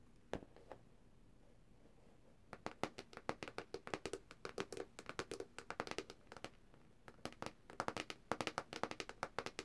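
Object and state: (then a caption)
Plastic tablet back cover. Long dark nails on both hands tap the thin, hard plastic back shell of a black Samsung tablet lying flat on its back. Two lone taps are followed by a pause, then quick, dense runs of sharp, dry, bright clicks with a brief lull before a final flurry. Each tap dies away almost instantly.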